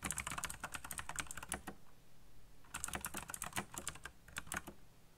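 Fingertips type quickly on a backlit black plastic mechanical keyboard, producing rapid bright clicky keystrokes. The typing comes in two bursts separated by a short pause of about a second.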